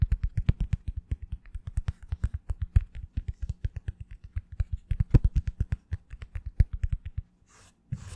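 A small oval foam wave sponge brush with a hollow, hard plastic back is held in front of a microphone and quickly tapped on its back with long fingernails. About 54 short, dull, low thumps sound in a rapid, uneven stream, each with a faint clicky edge and almost no ring. The tapping stops briefly near the end, leaving a soft hiss, before one last tap.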